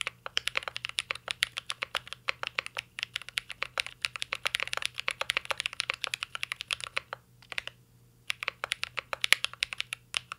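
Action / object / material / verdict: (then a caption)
tap / mechanical keyboard with plastic keycaps and aluminum case / plastic, aluminum / none. Fingertips type continuously on a mint-green Cyberboard R3 mechanical keyboard with plastic keycaps and an aluminum case. Rapid, bright, short clicks follow one another in a steady stream, with a brief pause before typing resumes.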